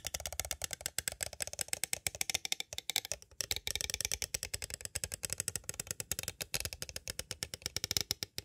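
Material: Plastic.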